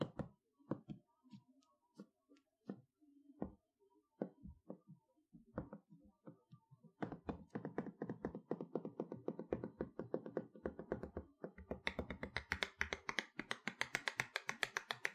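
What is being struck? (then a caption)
Large flat cardboard box panel. Long nails tap and scratch the hollow back of a large, flat toy box, a plain brown cardboard panel held upright. Sparse, dull taps with short, dry decays start the clip, then at about seven seconds they build into fast, steady tapping. After about twelve seconds, brighter, hissier scratching joins the tapping.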